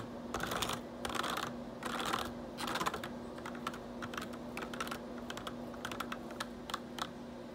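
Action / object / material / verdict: tap / plastic computer keyboard / plastic / none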